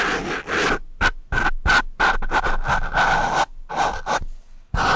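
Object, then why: Foam microphone windscreen scratched with a wooden pencil tip. The sharpened tip of a wooden pencil scratches a black foam microphone windscreen up close in a run of quick, rough scratching bursts separated by short silences. Each dry, broadband scrape stops without any ring, and a faint steady tone near 1.5 kHz runs through the louder strokes.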